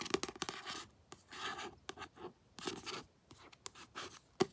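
A paperback book is held upright while fingertips and long nails scratch its glossy card front cover. Dry, bright scratching comes in quick bursts and longer rasping strokes, separated by short silences. A sharp click lands near the end.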